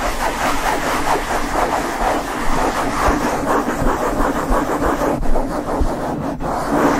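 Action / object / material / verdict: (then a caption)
scrape / foam microphone windscreen / foam / none. A black foam windscreen on a Blue Yeti microphone is rubbed fast by the palms and fingertips of both hands, with the nails occasionally touching it. The result is a steady, dense, scratchy rumble of close handling noise with a rapid rhythmic texture and a few brief brighter scrapes.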